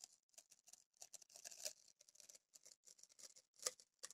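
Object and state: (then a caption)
Paper masking tape roll. Long grey nails pick at a yellow paper masking tape roll and peel a strip of tape off it. The result is a quiet run of irregular, bright, crackly scratches and short tearing bursts, with a couple of sharper snaps near the middle and end and almost no low end.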